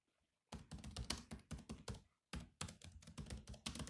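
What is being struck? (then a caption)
Laptop keyboard, plastic keys. Fingertips of both hands type rapidly on the black plastic keys of a grey laptop, producing quick, clicky taps with a low thud and bright clatter. A burst of keystrokes runs from about half a second, pauses briefly near two seconds, then resumes in a fast run to the end.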